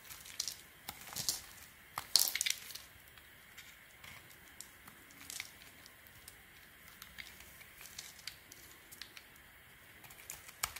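A small metal craft blade shaves and scrapes thin slices off the rim and face of a solid oval, light blue, blue-marbled soap bar held in the palm, with soap chips piling up below. Each cut makes a short, bright, crisp scrape with a faint crackle, and a louder cluster of cuts comes near the start. Quiet, dry scraping continues throughout.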